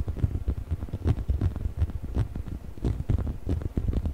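Fingertips scratch and rub the textured rubber skin of a hollow yellow rubber chicken toy held in both hands beside the microphone. It makes a dense, continuous patter of soft, dull scuffs and crackles, with a low, muffled thud in each stroke.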